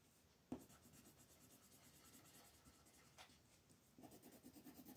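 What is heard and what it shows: A wooden colored pencil makes small shading strokes on a flat white paper mandala coloring sheet held by fingertips. A quiet, steady scratching rub runs throughout, broken by three louder strokes, the last opening into a busier run of rhythmic shading.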